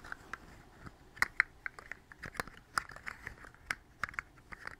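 A hollow, segmented, hand-length rainbow plastic slug fidget toy is tapped and scratched along its ridged segments by long pink acrylic nails while its joints are flexed, held close to a fuzzy microphone that it may brush. Quick, dry clicks and crinkly plastic scratches stand out sharply with almost no ring, centered in the upper mids with bright edges and little low end.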